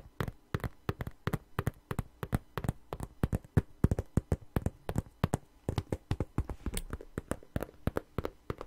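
Fingernails tap and scratch across the glossy surface of a long, hollow red patent faux leather wallet held upright and flat in the hands. The sound is a quick, uneven run of about 44 short, dry, low-heavy taps that stop instantly, with faint scratching between them.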